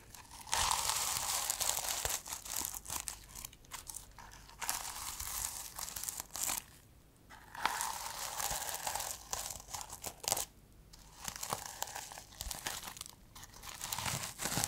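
A medium, solid notebook with a fabric cover of reversible blue and multicolour plastic sequins is held in one hand and scratched and rubbed with long nails and fingertips, flipping the sequins. The result is a dense, bright crinkling and scratchy rustle with a tinny clicking texture. It runs almost continuously, with brief quiet pauses near the 7- and 11-second marks.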